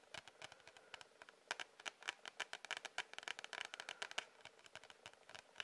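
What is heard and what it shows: A cardboard-covered sketchbook is tapped with quick, uneven fingertip taps. The result is a rapid run of about 35 dry, bright clicks with almost no low end and very little ring.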